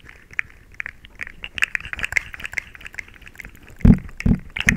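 A small, hollow, rainbow-colored plastic slinky sits next to the microphone and is bent, compressed and clicked with fingertips and long nails. Rapid, irregular, dry plastic clicks and ticks with a bright edge come quickly one after another, each dying away at once. Near the end, a few louder, deeper thumps stand out.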